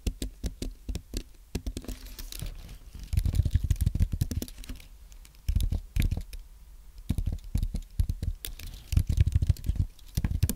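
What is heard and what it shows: A white Apple Magic Keyboard, compact and solid with low-profile plastic keys on a thin aluminum base, lies on a white desk and is typed on with the fingertips of both hands. Rapid bursts of soft, short, dull key taps, with a low thud under each, come in uneven runs separated by brief pauses.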